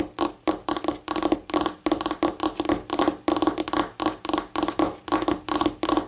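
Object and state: Laminate tabletop tapped with fingernails.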